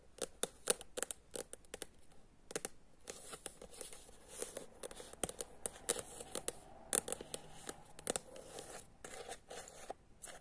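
Long nails tap and scratch the cover of a thin paperback book, *Ako je verovati mojoj baki*, which has a white and green illustrated cover and is held in the hand. The result is a quick, irregular series of soft, dry, clicky taps with bright, papery scratching between them. Each tap dies away almost instantly.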